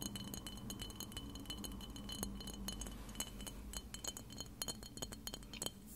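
Long red-painted nails tap rapidly on a clear glass spray bottle of glass cleanser, hollow and partly filled with liquid, held close to the recorder. Each tap gives a short, bright glassy clink ringing around 3.1 kHz over a steady low rumble.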